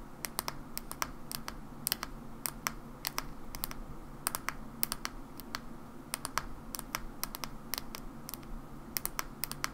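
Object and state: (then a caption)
Plastic hair cream bottle. Long nails tap the white plastic cap of a mauve plastic hair cream bottle and then its plastic body, giving 42 short, sharp, bright clicks. The taps come in loose, irregular bursts and stop almost instantly, over a quiet, steady low rumble.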